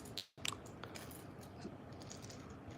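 A small silver vintage crankbait fishing lure is shaken, giving quick, bright rattling clicks from the rattle inside its body over a low background hum. The lure has a good little rattle.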